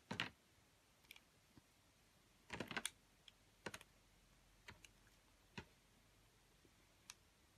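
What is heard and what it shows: A metal utility blade slices thin slabs off a pale yellow ring of bar soap. Each cut gives a short, crisp, bright scrape or click, some in quick clusters, with quiet pauses between and almost no ring after each stroke.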